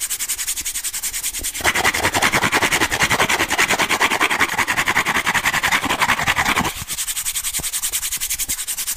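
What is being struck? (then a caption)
Corrugated cardboard disc. Fingernails rub and scratch along the exposed ribbed edge of a brown corrugated cardboard disc held edge-on. The result is a steady, rapid, raspy scratching with a bright, papery texture. It swells louder and fuller in the middle of the clip before dropping back to a quieter, lighter scratch.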